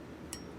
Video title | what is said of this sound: LC9S disassembly and reassembly | the punch drops into it and then you can hear it tapping on metal